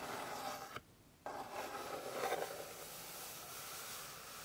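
Long pink fingernails scratch across the surface of a flat, light-colored solid wooden board, making a steady, dry, rasping scrape. The sound cuts out briefly near the start, then resumes and swells slightly before settling into an even, bright scratching.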